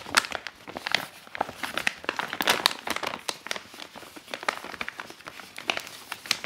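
Fingertips and nails grip an empty, medium-sized reusable grocery tote made of laminated woven polypropylene, printed with a sunflower-field scene and trimmed with black fabric, and fold it flat. The plastic laminate flexes and rubs, giving a dense run of sharp, bright crinkles and crackles with no low end. Each pop dies away at once.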